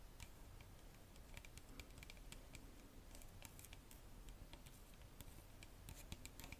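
Long nails tap rapidly on a clear plastic Bioderma micellar water bottle filled with liquid and on its red cap. The result is a quiet stream of short, dry, bright clicks that die away almost instantly, over a soft low hum.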